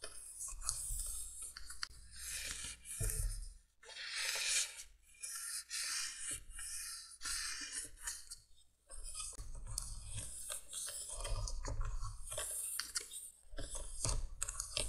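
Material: Plastic.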